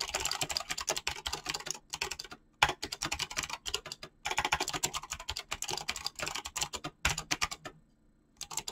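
Fingertips with short painted nails type fast on a full-size mechanical keyboard with clicky green switches and pink-blue PBT plastic keycaps. Dense bursts of bright, sharp clicks come in quick runs, broken by brief pauses, and each click dies away almost at once. Near the end the typing stops for a moment of near silence, then starts again.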